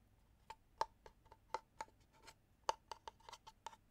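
A small hollow wooden box, held at an angle, has its surface scratched and rubbed with fingertips and nails. Twelve quiet, short, dry ticks come at an uneven pace, each centered around a woody 900 Hz tone with a bright, scratchy top and almost no ring.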